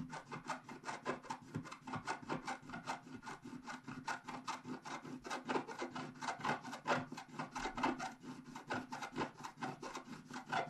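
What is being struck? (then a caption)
Coated scratch-art paper scratched with a wooden stylus. A wooden stylus scratches across the top left area of a flat, black-coated scratch-art paper sheet, with a hand held over the page. Quick, quiet, dry scraping strokes repeat steadily but unevenly, each a short raspy burst with a faint papery hiss and little low end.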